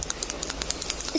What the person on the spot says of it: इसके अंदर जो आवाज आ रही है ना, दिखाता हूँ इसके अंदर कोई चीज है